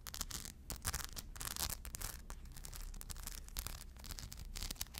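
Long blue nails scratch across the rhinestone-covered surface of a crescent shoulder bag held up by its strap. The result is a dense, bright, gritty scratching with rapid clicky bursts over a low, steady rumble.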